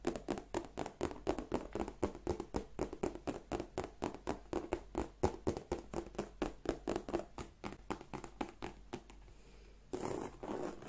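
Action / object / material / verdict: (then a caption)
tap / embossed leather handbag / leather / none. Long nails tap and scratch on the flap and front panel of a hollow black croc-embossed leather bag, making a fast run of short, dry, hollow taps with a low-mid body. The tapping stops near the end, giving way to a quiet pause and then a brief, brighter scratching rustle.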